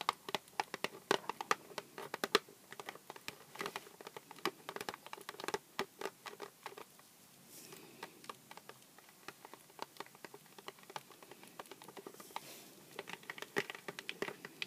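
A small, hollow Sour Patch Kids cardboard candy box stands on a cutting mat and is tapped and scratched with long black-painted nails. Quick, dry, papery taps patter unevenly with no ring. Softer scratching passes come through the taps at a few points.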